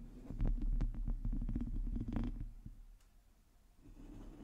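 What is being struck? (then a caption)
Metal mesh microphone grille. Long teal nails of both hands scratch the hollow domed metal mesh grille of a black microphone. The result is a rapid run of close, muffled scratching strokes with a heavy low rumble and a brief bright edge on each. The scratching fades into a quiet stretch before a soft, faint rustle returns.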